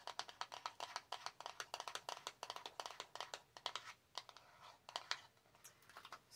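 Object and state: Small cardboard box tapped and scratched with nails.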